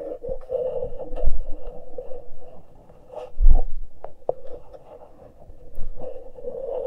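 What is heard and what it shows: Fingertips and long nails pinch and scratch the uncovered metal microphone capsules on a Tascam recorder with both hands. Close, scratchy rasps and soft rubbing sit over a steady mid-range hum, broken by heavier low thumps that swell around the first, middle and final stretches before easing back to faint scraping.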